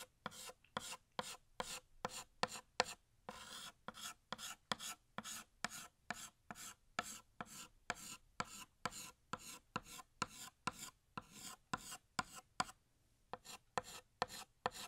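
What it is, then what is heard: Chalk scraping on a chalkboard. A blue chalk stick held in the fingers scrapes short strokes across a large, flat, solid black chalkboard while outlining the second balloon. About 35 dry, raspy scratches come in a quick, steady rhythm, each bright and gritty with almost no ring. A few brief pauses fall between the strokes.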